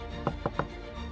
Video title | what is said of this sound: Milwaukee PBS - Documentaries and Specials - Al Capone: Prohibition and Wisconsin | They realized that it's hollow back here.